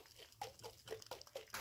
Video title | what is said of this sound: Butter Making with Jean | you can maybe hear the sloshing around that the butter does